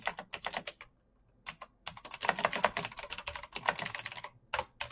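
Fingertips type fast on a black backlit mechanical keyboard with plastic keycaps and clicky switches, producing rapid, bright, sharp clicks that stop almost instantly. A brief pause interrupts the typing near the first second before it resumes in a denser burst.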